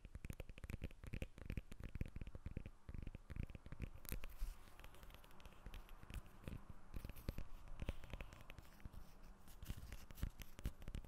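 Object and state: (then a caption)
Lemon. Long nails tap and scratch the peel of a whole lemon held above the recorder. The result is a steady, dense stream of quick, dry, low-heavy taps mixed with soft crackly scratching that stays close and muffled throughout.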